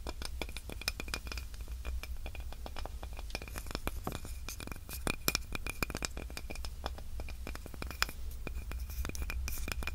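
Long nails scratch and tap a small, light, solid wooden cutting board with a handle. Rapid, dry clicks and scrapes come in a dense stream, each dying away almost at once, with a faint tone near 2.4 kHz. A steady low hum sits underneath throughout.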